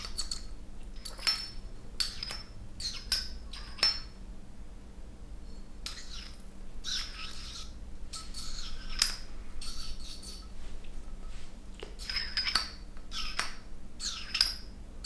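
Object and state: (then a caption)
Glass volumetric flask with glass stopper. A glass stopper is moved and tapped with fingers in the long neck of a clear glass volumetric flask holding a little water. The result is a series of bright, quick glass-on-glass clinks ringing over a steady low background hum.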